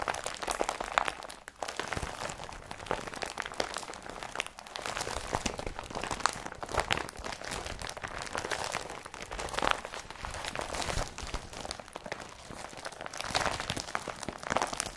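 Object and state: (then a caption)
Woven polypropylene bag being crumpled. An empty blue IKEA BRATTBY woven polypropylene carrier bag is squeezed in a fist, then rubbed flat with fingertips. The result is a steady, dense crinkling and crunching with many small, sharp rustles that centre in the mid range and carry bright upper edges, with no ringing after each crackle.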